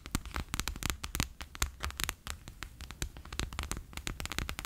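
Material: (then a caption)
Plastic. A bear-shaped clear PVC pouch full of orange water beads lies flat on a table and is rapidly tapped with fingertips and long nails. It gives a quick, uneven run of short, sticky, crackling taps, each with a bright clicky edge over a soft low thud, dying away almost instantly.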